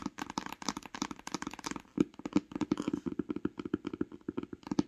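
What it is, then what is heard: Cloth hardcover book, tapped with nails. Long pink nails tap rapidly and irregularly on the cover of a solid, grey cloth-bound hardcover book lying flat. The taps are short, dry knocks with a muted, mid-pitched body and almost no ring, some landing louder and sharper than others.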